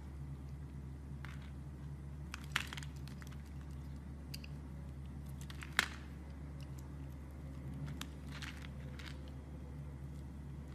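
A knife blade shaves slices from and scrapes the smooth surface of a solid dark brown bar of soap held with long dark nails. Short, crisp, bright crunching and scraping bursts come at an irregular pace over a steady low hum, with two sharper cuts standing out.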